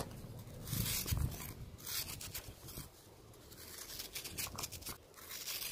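A metal knife blade scrapes down the edge of a hand-held, solid, brown, crumbly round disc of compacted sand, cement and cornstarch powder, shaving off crumbling powder. Uneven bursts of bright, gritty scratching and shaving repeat, with soft low thumps near the start and brief quieter gaps between strokes.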